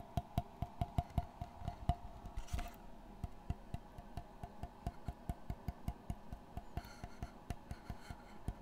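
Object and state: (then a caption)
Wooden framed board. Fingertips tap and scratch the flat face of a dark brown framed panel with a wooden border, held close to the microphone. About 30 short, dry, hollow knocks come in a steady rhythm, each dying away almost at once. Brief bursts of bright scratching noise appear around the third and seventh seconds.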